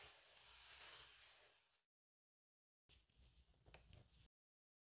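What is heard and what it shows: A large, inflated silver mylar foil balloon is brushed with a pink makeup brush, making a steady, bright, airy hiss for about two seconds. After a short silence, a spoolie scratches its surface in uneven, crackly bursts with sharp high rasps.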